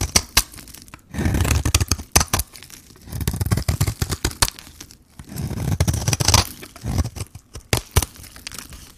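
A metal blade peels and shaves the surface of a hand-held, solid pink-coated bar of white dry soap. Dry, crumbly scraping strokes with a low rumble alternate with sharp, bright cracks and snaps. Each shave ends quickly with no ring.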